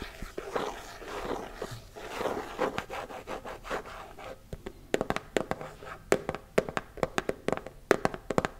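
A closed, round, hand-sized body-butter tub, likely plastic, with a printed lid and pink sides, is tapped with fingertips and nails. The first half is soft, dense scratching and rubbing; the second half turns into a quick run of sharp, dry taps that stop almost at once with no ringing.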